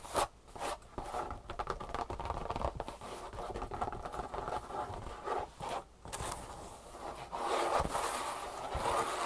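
Long painted nails scratch and tap the surface and handles of a large, soft tan leather handbag lying on a wooden table. Dry, zipper-like rasping scrapes mix with quick soft taps, with the scratching growing louder and brighter toward the end.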